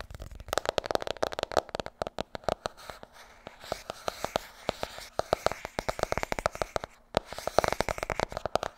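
Rapid, dry fingernail taps and light scratches on a paperback cover, each click dying at once.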